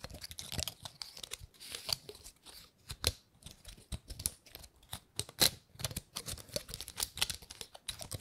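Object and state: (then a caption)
Dry painted pine cone. Long nails scratch and flick the scales of a dry, gold-painted pine cone. The result is a quiet, dense run of bright, dry clicks and crackly scratches, each snapping off almost instantly. Sharper flicks stand out here and there.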